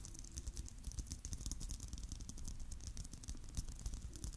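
Fingernails tap rapidly on the surface of a palm-sized, hollow, clear plastic Christmas bauble filled with glitter and sequins. The result is a quiet, steady patter of fast, light clicks with bright, crisp ticks that die away almost instantly. A low, soft rumble sits underneath throughout.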